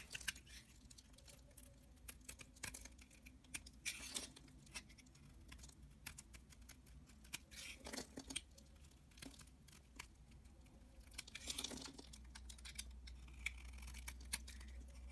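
A snap-off utility-knife blade scrapes thick curls from the edge of a solid pale-green oval bar of soap held in the hand. Quiet, dense, bright scraping and crinkling clicks sound over a low steady hum, with longer rasping bursts around 4, 8 and 12 seconds.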